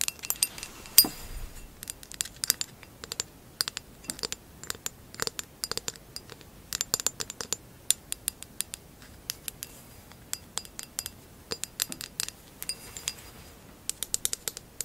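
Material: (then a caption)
Glass. Long acrylic nails tap and scratch the base and bottom rim of a hollow amber textured glass vase. The result is a quiet, uneven run of sharp, bright clicks and short scrapes, each dying away almost instantly, with very little low end.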